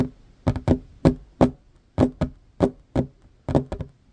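Both hands tap a flat, solid wooden tabletop with short fingernails in quick, uneven bursts of about a dozen knocks. Each tap is dry and short with a low-mid woody thud and a faint bright click from the nails, and there is almost no ring between the strikes.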